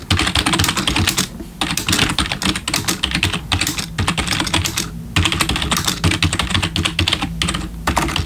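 Fingertips of both hands type quickly on a black plastic RGB backlit computer keyboard. The dense clatter of bright key clicks over low thumps of keys bottoming out pauses briefly three times before the typing resumes.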